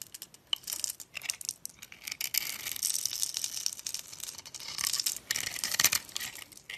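A palm-sized bar of orange soap with yellow stripes, held in the hand, is scored into a grid and carved into small cubes with a box-cutter blade. Dry, bright scraping and crisp crunching cuts run in quick bursts with almost no low end. Crumbly cubes fall off as the blade works through the bar.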